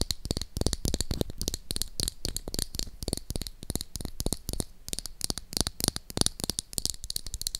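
Long acrylic nails tap and scratch along the body of a small, hollow, hot-pink plastic toy lipstick tube held in one hand. A rapid, steady string of sharp, dry clicks with almost no ring is heard, each tap carrying a hollow low thump under a bright, crisp top, with faint scratchy rasps between them.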